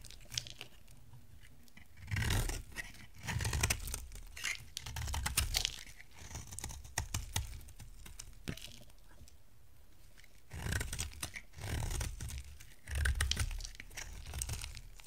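A solid white rectangular bar of dry soap is held in the hand and shaved along its edges with a box-cutter blade. Quiet stretches are broken by bursts of crisp, dry scraping and crunching, each with a bright, papery rasp and a low rumble beneath. The shavings peel off in short, clustered strokes with no lingering ring.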